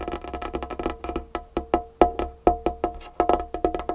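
Long painted fingernails tap quickly on a large solid wooden tabletop with a varnished finish. The clicks come in rapid, uneven bursts, each dry and short with a hollow woody tone around 700 Hz.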